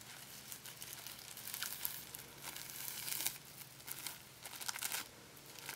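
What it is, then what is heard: Clear plastic packing tape. A crumpled ball of thin, sticky, clear plastic packing tape is squeezed, then stretched flat and pulled apart by fingertips. The result is a steady stream of bright, crinkly crackling and sticky peeling snaps, with louder bursts as the film separates.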